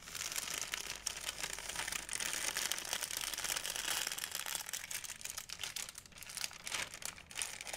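A large, thin, empty white plastic Blick shopping bag, held by the handle, is crinkled and rubbed with fingertips and nails. The result is a continuous, dense stream of bright, crisp crackles and rustles, almost all high in pitch with very little low end.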